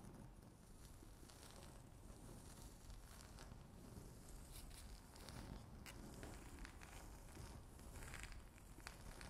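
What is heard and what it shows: Long natural fingernails scratch across a flat, solid, speckled granite-look laminate tabletop, making a steady, quiet, continuous scraping rasp. Faint crackly scratches with brief bright ticks run over a low rumbling base throughout, with no pauses.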